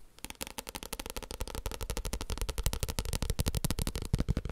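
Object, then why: Paper book. A paper book is tapped in a quick, uneven run of about 29 short taps. Each tap is a dry, dull thud, mostly low in pitch, with almost no ring and a faint crisp edge.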